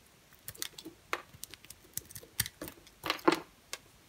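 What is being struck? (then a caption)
Bar of soap cut with a knife blade. An orange and cream striped bar of soap is cut and scraped with a utility knife blade. About fifteen short, dry crackling scrapes and snaps follow one another with bright, crisp edges. A couple of louder crunches land near the end.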